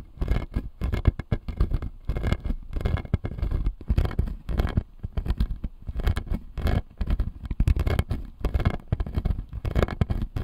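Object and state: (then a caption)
Acrylic dental model with plastic teeth. Fingertips and nails tap and scratch the blue plastic teeth on the lower jaw of a clear acrylic dental model. The result is a steady stream of short, dry clicks and rough scraping bursts with a heavy low thump and brief bright edges that stop without ringing.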